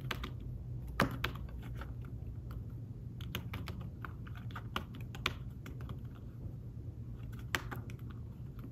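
Fingertips with short nails type quickly on a thin, flat, fabric-covered tablet keyboard case with shallow keys, resting on a table. Fast, light, soft taps with short clicky ticks run steadily over a low hum, with a few sharper, louder taps standing out.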